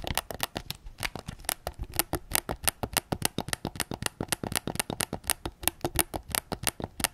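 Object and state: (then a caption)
Plastic game controller tapped. Fingertips tap rapidly and steadily on the face, touchpad and grips of a white PS5 controller made of hollow plastic, held front-on. About forty short, dry clicks land one after another, each bright and crisp with a faint hollow low body, dying away almost instantly.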